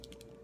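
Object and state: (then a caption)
Liquid eyeliner tube with a mixing ball inside. A liquid eyeliner tube with a mixing ball inside is shaken to mix the liner before use, as its packaging directs. Quick, faint rattling clicks from the ball are heard over a steady low hum.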